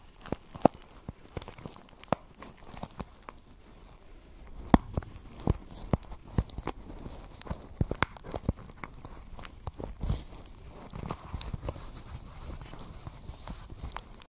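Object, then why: Woven plastic basket. A small, hollow pink basket woven from plastic strips is held against a microphone and scratched and tapped with long nails. Soft, scratchy rustling runs throughout, broken by sharp, irregular clicks and crinkly taps, most of the energy low with brief bright ticks.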